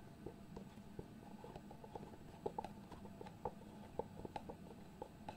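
Fingertips tap, scratch and slide across the lid of a small, hollow white cardboard product box. The quiet, dry taps have a hollow mid-pitched knock with almost no ring, scattered over a soft scratching and rubbing texture.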